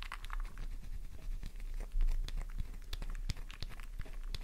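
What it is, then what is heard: Bar soap scraped with nails. A solid pink flower-shaped bar of soap, held in the palm, is scraped with long nails, leaving soap dust over the hand. Quick, dry scratching and crisp crumbly taps come in an irregular run over a steady low rumble. Each sound dies away fast.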